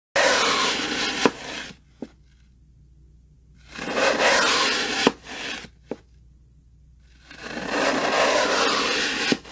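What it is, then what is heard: Floral foam block being sliced. A steel kitchen knife slices thin sheets off one face of a solid, porous rectangular block of green phenolic floral foam resting on a wooden table. Three separate slicing passes are heard as broad, bright, gritty scraping rushes, each ending in a sharp click as the blade finishes the cut, with near silence between them.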